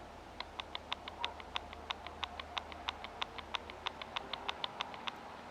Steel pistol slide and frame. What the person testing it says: So, yes, after whatever 4,000 rounds, it's a little bit loose.